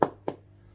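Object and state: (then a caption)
Bread roll, hollow (baked through). A second baked bread roll is flicked on its underside to check that the batch is consistent. Two short, dull, hollow taps with a mid-range tone are heard, showing the roll is baked through.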